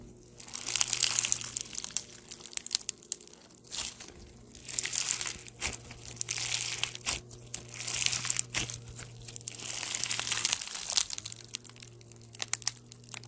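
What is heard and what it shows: A hand-sized, solid ball of clear slime packed with small pastel polystyrene foam beads is squeezed, pressed and pulled apart by fingertips with short nails. It makes bright, crunchy crinkling pops in repeated bursts, with quieter gaps between them over a faint low hum.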